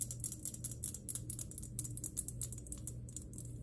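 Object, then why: Glass electric globe. Long nails tap rapidly on a glass electric globe, making a quick run of short, bright clicks that stop almost instantly. A steady low hum runs underneath the taps throughout.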